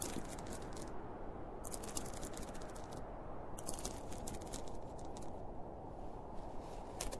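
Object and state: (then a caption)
Fabric pencil case. Fingertips and nails scratch and tap on the top and front panel of a hollow, closed, zippered school pencil case made of polyester fabric with a printed cartoon panel. Bright, crisp scratching comes in bursts over a steady low, muffled rumble, with soft dull taps between them.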